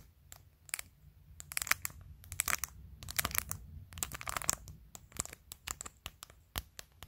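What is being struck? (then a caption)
Plastic phone case covered in acrylic press-on nails. Long acrylic nails tap and scratch a clear glitter plastic phone case on a phone, which is covered in glued-on matte acrylic press-on nails, working over the case, the camera lens area and the top edge. The result is a quick, irregular string of sharp, bright clicks mixed with short crinkly scratches over a quiet, low background.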